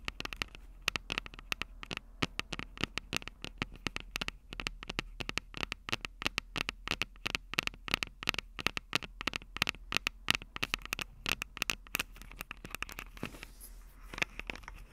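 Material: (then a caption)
Plastic, metal. Long acrylic nails tap and scratch the mic capsules of a Tascam DR-05 handheld recorder with a plastic body and metal mic grilles. Dense, rapid, sharp clicks and scratchy ticks come in quick bursts with no ring, bright and crisp with a constant low hum underneath.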